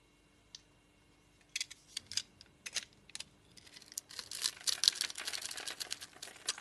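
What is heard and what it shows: A dry, palm-sized bar of soap with a striped orange, teal, blue and pink coating and a white core is held in the hand and scored and scraped with a utility knife blade in a grid pattern. Crumbly cubes fall away as sharp, bright scratching and crackling clicks come in sparse bursts, then build into a denser run of scraping near the end.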